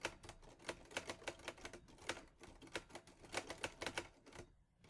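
Fingertips type on the keys of a teal metal portable Olivetti Lettera 22 typewriter. A steady run of sharp, bright clacks with a short metallic ring around 500 Hz and a little low thump follows. The keystrokes quiet down briefly near the end before one last soft tap.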